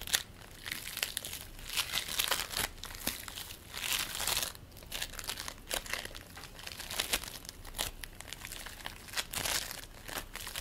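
A lump of purple and white play foam (polystyrene bead foam), held above a plate, is stretched, pulled and squeezed between the fingers of both hands. It gives a dense, bright crinkling and crackling, with quick bead pops that swell into louder bursts and ease back throughout.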